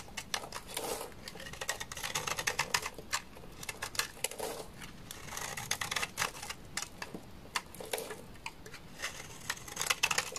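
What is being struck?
Bar of laundry soap cut with a knife.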